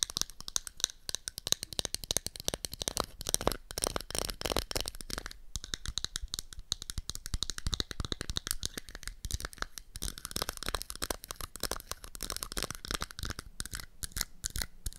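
Long acrylic nails tap and scratch the lid and rim of a round, palm-sized, hollow pink-and-black plastic toy makeup compact for kids. The result is a rapid, dense stream of dry, bright clicks and scratchy rasps that stop short with no ring.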